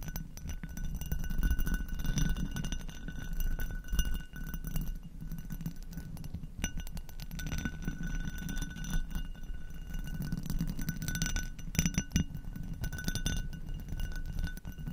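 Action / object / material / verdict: tap / textured glass goblet / glass / none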